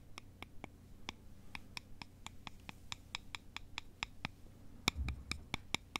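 Two thin, solid wooden sticks are crossed and scraped and tapped together by both hands, making a steady series of short, dry, bright clicks. The clicks come at an uneven pace over a low, soft background hum, with a slightly louder cluster near the end and no ring after each one.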